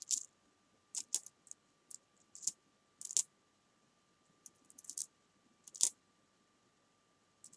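Long painted nails and fingertips pick up, stack, drop and click together a small pile of copper-coloured metal coins on a fabric sofa. Quiet, bright metallic clicks and light jingles come in short, separate bursts with almost no low end and very little ring. A faint steady tone sits underneath.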